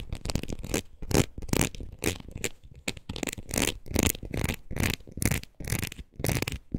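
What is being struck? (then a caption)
Ridged rubber wood-graining rocker. Long nails scratch back and forth across the ridged rubber face of a red rubber wood-graining rocker tool. Each irregular stroke makes a rough, raspy burst that runs from a low rubbery rumble up to a bright hiss, separated by brief quiet gaps.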